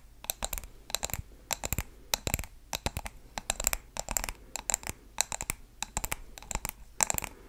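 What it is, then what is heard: Glass candle jar with wax. A medium blue glass candle jar filled with wax is held in the hands and tapped and scratched with long nails on its glass sides and bottom. Quick bursts of sharp, bright clicks and ticks come in uneven clusters with short scratchy sweeps between them. Each tap dies away at once with no ringing, over a faint low background hum.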